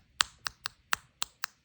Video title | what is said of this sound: [ep28] Victorinox Compact is the Best Urban EDC Multitool with Scissors | this kind of feels hollow plasticky